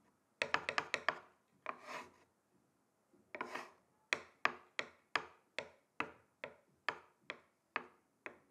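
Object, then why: Wooden chopping board tapped with thin sticks. Two thin wooden sticks tap on the surface of a flat, solid, rectangular wooden chopping board, starting with a quick flurry of dry, bright clicks. Two soft, hissing rubs follow, then twelve evenly spaced single taps, each dying away almost instantly.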